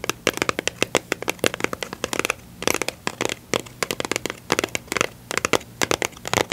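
Long pink nails and fingertips tap and scratch a small, hollow, rectangular yellow-and-blue printed cardboard box of standard staples, its contents not visible. The result is a quick, uneven run of crisp, dry clicks and scratchy bursts that are bright and papery, with almost no low end. Each tap dies instantly over a faint steady low hum.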